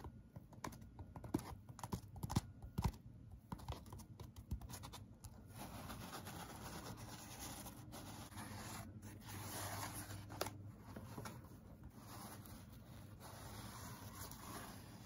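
A dark grey foam packing insert from a Blue Yeti microphone box, a light block with a cutout, is held in hand while fingertips and nails tap and scratch it. The first few seconds bring sharp, scattered taps and scrapes. These settle into a steady, soft, dull scratching with mostly low tones and very little ring.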